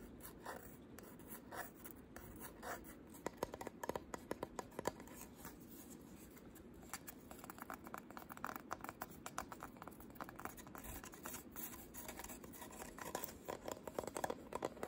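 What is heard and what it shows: Short pink nails tap and scratch the front and wooden edge of a small wooden photo frame shaped like a camera. Quiet, rapid, dry clicks mix with a steady scratching rustle. Each tap dies away almost instantly.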